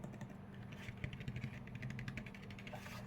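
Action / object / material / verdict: tap / painted 3D-printed plastic mask / plastic / none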